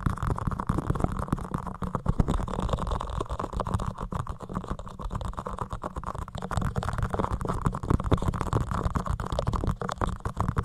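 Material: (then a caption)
Foam. A soft, porous white foam windscreen on a microphone is scratched and rubbed quickly with the fingertips of both hands. The result is a dense, continuous muffled rumble and crackle, heavy in the low end with almost nothing bright, and frequent small surges throughout.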